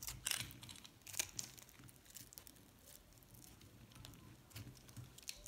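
A metal box-cutter blade scrapes shavings off a pink and yellow recycled solid soap bar held in the palm. Quiet, bright, crisp scraping and crunching bursts come in clusters, loudest near the start and again toward the end, with a soft low rumble underneath.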